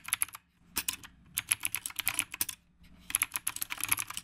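Fingertips type on a retro typewriter-style mechanical keyboard with round plastic keycaps, producing rapid, sharp, bright clicks in three bursts separated by brief pauses. Each keystroke is crisp and dies away almost instantly, with very little low-end.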